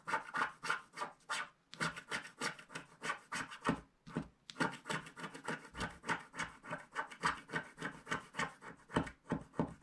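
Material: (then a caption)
Coated paper. A wooden stylus scratches along the remaining black edge strip of a flat black-coated paper scratch card held in one hand. It makes a quick, uneven series of short, dry rasping strokes with a bright, papery hiss. The strokes pause briefly twice before continuing at a steady pace.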